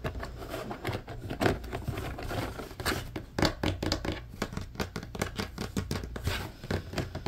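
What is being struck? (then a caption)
Plastic laundry basket. Fingertips and short nails tap and scratch along the grid bars on the slotted side of a large, hollow, empty blue plastic laundry basket. A steady stream of quick, dry clicks and scrapes rides over a low, hollow thrum from the basket. Each tap dies away almost instantly.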